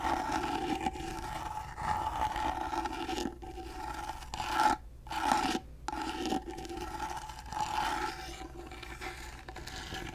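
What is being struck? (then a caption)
Small carved wooden box. Fingernails scrape along the carved side of a small, rectangular, gold-painted carved wooden box, which is hollow and held in one hand. The result is continuous raspy scratching strokes with a hollow ring centered around 800 Hz, briefly cut by two short pauses near the middle.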